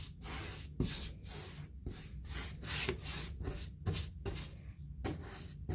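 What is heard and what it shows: A paint brush rubs and scratches along the lower panel edges of a painted, white textured molded fiberboard interior door, likely hollow-core molded hardboard. Repeated bristly strokes produce bursts of bright, airy scratching separated by brief pauses, over a steady low rumble.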